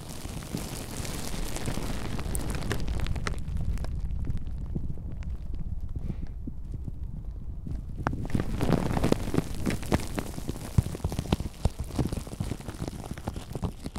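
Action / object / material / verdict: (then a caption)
scrape / plastic bubble wrap / plastic / none. Clear plastic bubble wrap wrapped around a microphone is squeezed, crinkled and rubbed with both hands, producing a dense, muffled, low-heavy crackle and rustle. The sound thins out briefly in the middle, then returns with sharper, irregular snaps and crackles toward the end.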